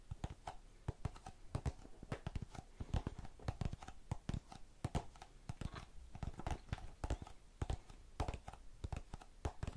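A small blue plastic tub full of cotton swabs is held upside down and tapped on its base with long nails. The rapid, irregular taps land as short, dull, low knocks with a faint hollow tone that dies away almost at once.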